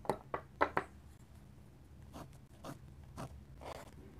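A steel dip pen nib scratches short hatching strokes across a flat paper sketchbook page. Four quick, crisp scratches come in the first second, followed by quieter, longer rasping strokes spaced irregularly over a low steady background hum.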